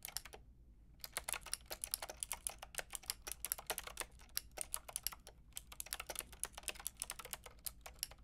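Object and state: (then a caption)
Plastic mechanical keyboard being typed on. A white-and-pink Lofree mechanical keyboard with round plastic typewriter-style keycaps and a hollow plastic case is typed on with long painted nails and fingertips. It gives quick, bright, clicky keystrokes that clack in rapid bursts with short pauses between them. A low steady hum sits underneath.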